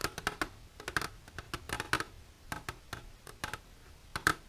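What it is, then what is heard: Empty plastic container. Long silver nails tap the surface of an empty, clear plastic container lying flat, making about nineteen sharp, bright clicks at an irregular pace. Each tap is dry and short, with a thin plastic tick centered around 1.5 kHz and almost no ring.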